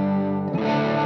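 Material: Nothing is struck.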